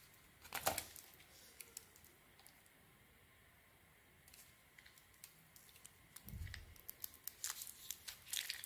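A solid white soap bar with a pink sequin coating is held in the hand and carved with a metal blade that slices through the coating and the soft soap. A bright, crisp crackle and scrape opens the clip, followed by quieter scattered ticks. The cutting grows denser and louder toward the end, with a soft low thump partway through.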